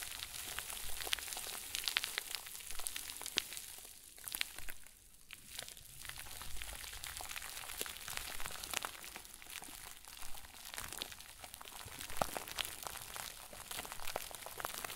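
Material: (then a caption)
Plastic film. A round, white crinkle ball made of a plastic bag stuffed into itself is squeezed and crumpled with both hands. The result is a soft, continuous crackling and rustling with bright, sharp crinkles. It grows quieter for a moment around the middle and then picks up again.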